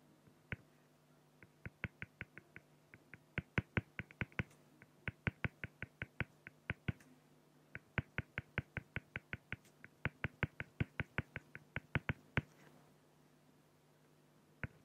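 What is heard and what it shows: A felt-tip pen makes rapid strokes on a flat, clear acrylic plexiglass sheet, producing dozens of crisp, dry, clicky taps with faint scratching. The clicks come in quick irregular runs with brief pauses over a steady low hum, each one short and bright with almost no ring.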